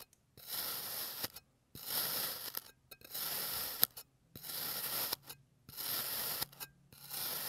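A clear plastic blade slices layer by layer up through a solid blue kinetic sand bear resting on a green surface. Six long, gritty, bright scraping strokes are heard, each separated by a brief silence, with a dry, hissing, tearing texture and almost no low end.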